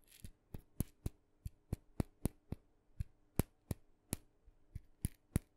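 A small, hollow, red-dotted, painted wooden mini maraca with a wooden handle is tapped with fingernails along its body and handle. Fifteen short, dry taps come at an uneven pace, each a low hollow knock with a bright clicky edge that dies away at once.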